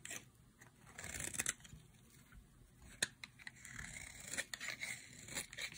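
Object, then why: Bar of soap scraped with a knife blade. A solid pink bar of dry soap, held in the hand, is scraped with a utility knife blade into thin strips. The sound is quiet, dry and bright, with crisp scratchy shaves and sharp clicks of the blade catching the soap between softer rasping strokes.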